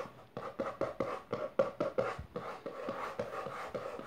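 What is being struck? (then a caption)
Hardcover book with textured cover. Long nails and fingertips quickly tap and scratch the maroon textured cover of a closed, solid hardcover book lying on purple fabric. A fast run of dry, short taps with a hollow midrange knock gives way to softer, continuous scratching in the second half.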